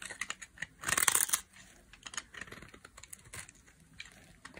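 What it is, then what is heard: Dry bar of soap being carved. A metal utility blade carves and scrapes thin flakes off a solid, hand-sized, pink-and-white striped bar of dry soap held by long nails. Crisp, bright scraping and crackling strokes come in an irregular stream, with a louder, dense crunching burst near the start before settling into quieter, scattered scratches.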